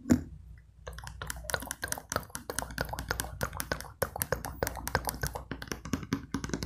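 Long pink acrylic nails tap and scratch a medium translucent plastic cosmetic jar with a cream-colored lid that appears filled with product. One sharp tap is followed by a brief pause, then a quick, uneven run of crisp, bright clicks mixed with soft scratchy rustling. A faint steady low hum sits underneath.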